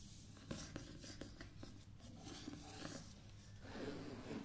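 Long painted nails and fingertips scratch and tap across the embossed cover of a medium hardcover paper book lying flat on a table, the book solid. Quiet dry scratching runs throughout, broken by soft, dull taps that die away quickly. The scratching swells into a denser rasp near the end.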